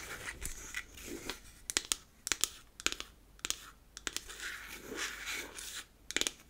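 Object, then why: Beech-wood powder compact. Long acrylic nails tap and scratch the sides and top of a hollow, square, unfinished beech-wood powder compact. Sharp, bright, dry clicks come in quick clusters with no ring, separated by soft, hissy scratching across the wood.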